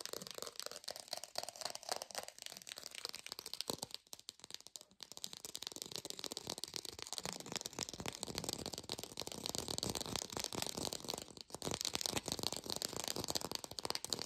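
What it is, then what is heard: Artificial textured orange, fast tapping. A textured artificial plastic orange is tapped fast with a lo-fi sound. The taps blur into a dense, bright, dry rattle with little low end, pausing briefly around four to five seconds and again near eleven and a half seconds.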